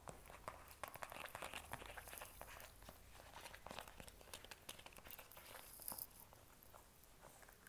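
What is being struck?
Plastic squeeze tube.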